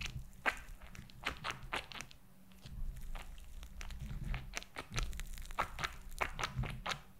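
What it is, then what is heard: Silicone gel toy with beads, tapped and scratched with nails. Long acrylic nails tap and scratch a palm-sized, flat, purple glitter gel silicone squishy toy with raised pink bead spheres, held over the mic. Quick, sharp, dry clicks and bright crackly scratches come in an irregular stream over the beads and gel surface, each dying away almost instantly over a soft low rumble.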